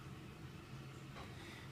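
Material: Nothing is struck.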